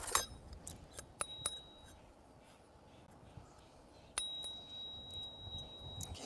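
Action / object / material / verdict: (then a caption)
tap / silver knife handle / silver / hollow. A hollow silver knife handle that won't come apart is tapped. It gives sharp, bright clinks with a brief high metallic ring, and the hollow sound is confirmed. Several distinct taps are spread across the clip, with quiet background noise between them.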